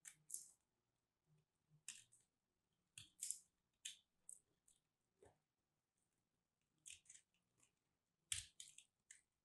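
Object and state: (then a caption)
Starch-coated soap being cut into crumbs. A small, solid lilac soap piece coated in starch is held in the fingertips while a craft blade shaves and cuts it into crumbs. About 14 quiet, crisp, bright scraping and crunching bursts come in uneven clusters, each dying away almost at once, with very little low end.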